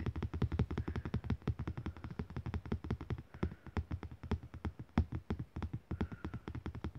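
A thin, glossy printed art postcard lying flat on a fabric surface is tapped and lightly scratched with the fingertips and short nails of one hand. The result is a fast, uneven patter of soft, dull, low-pitched taps with short clicky edges and faint scratching, continuing steadily for about seven seconds.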